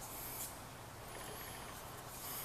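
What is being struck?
Nothing is struck.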